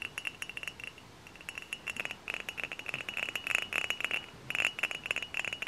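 Fingernails tap rapidly on a tall, hollow, dark glass cider bottle held upright. The result is a quick run of bright, clicky glass ticks, each with a short, high ringing tone that dies away almost at once, with a brief pause near the start before the tapping picks up again.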